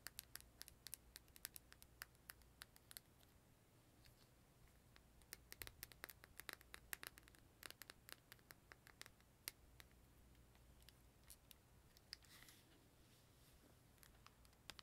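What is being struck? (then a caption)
Plastic handheld game console. A closed, small, hollow purple glossy plastic Nintendo 3DS rests on a cloth-covered table and is then held while long painted nails tap and scratch its plastic lid. Dense, quiet, sharp clicks and bright scratching come in uneven bursts with no ring over a faint low hum, and a softer rasping scrape is heard near the end.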